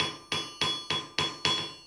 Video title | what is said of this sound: Forging a Horseshoe Heart with Singing Blacksmith Bryan Headley | the vibration goes to the chain that just disperses